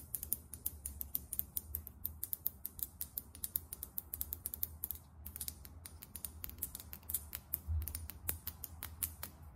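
Long acrylic nails tap rapidly on a small, filled Sephora Best Skin Ever foundation bottle, a frosted bottle with a matte taupe plastic cap. The result is a quick stream of sharp, dry clicks with bright high-frequency ticks and a faint low rumble underneath, with a brief pause near the middle.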